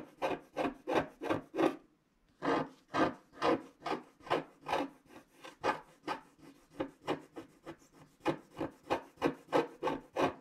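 A wooden stylus scratches lines into the right side of a flat scratch-art card made of black wax-coated paper while a hand presses the sheet down. About 23 short, dry, rasping strokes come in a quick, uneven rhythm, with a brief pause near the two-second mark. Each stroke sounds bright and scratchy, with almost no low end, and stops cleanly without ringing.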